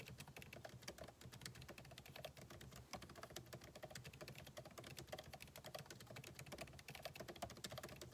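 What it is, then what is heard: Laptop keyboard being typed on. Fingertips type continuously on the backlit keyboard of a MacBook Pro, with plastic keycaps set in an aluminum body. The result is a steady stream of soft, quick key taps with crisp, bright clicks over a low thud, each tap dying away almost at once.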